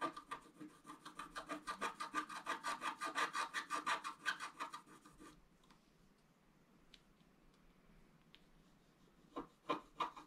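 A wooden stylus scratches the black coating of a flat scratch-art paper card, working on the lower part of a fountain picture. Quick, rhythmic raspy strokes of about three per second run for the first five seconds, followed by near quiet with a few faint scratches. A short burst of strokes returns at the end.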